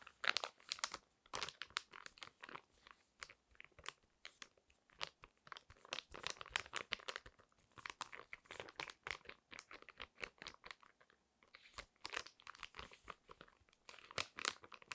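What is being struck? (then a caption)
Foil-plastic sachet with a sheet mask inside. Long nails scratch, tap and crinkle a flat, hand-sized, pink printed foil-plastic sachet holding a thin paper face mask. The result is a quiet, steady stream of bright, crisp crinkles and sharp clicky taps with almost no low end, each sound cutting off instantly.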